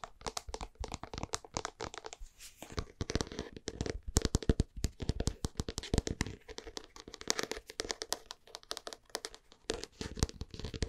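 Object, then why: Plastic supplement jar. A white plastic supplement jar with a blue label is tapped rapidly on its base and sides with long painted nails and fingertips. Dense, quick clicking taps with sharp attacks and almost no ring run continuously, with a low thud body under bright clicks and scratchy rubbing between bursts.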